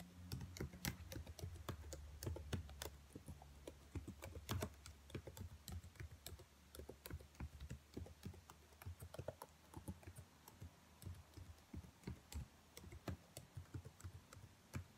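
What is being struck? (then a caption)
Plastic laptop keyboard. Long nails tap the keys of a black plastic laptop keyboard, giving rapid, irregular clicks at about 222 per minute. Each click is short and dry, dying away almost at once. A steady low hum sits under the tapping, strongest in the first few seconds.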